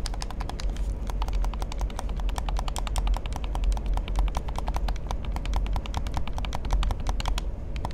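Fingertips rapidly tap and click the buttons and shell of a hollow black plastic gamepad held in both hands. A steady stream of short, sharp, bright clicks rides over a constant low hum near 59 Hz that carries most of the energy.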